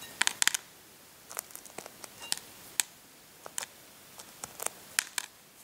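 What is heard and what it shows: Fingernails peel and scratch at the remaining cracked shell of a brown hard-boiled egg whose shell is already partly removed. Quiet, scattered, sharp, bright clicks and crackles ring out over near silence, each snap dying away instantly.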